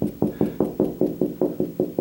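Eleven evenly spaced knocks on drywall over a wood stud produce short, dull, solid-sounding thuds with a low mid-range tone and almost no ring. The dense sound marks another stud behind the wall.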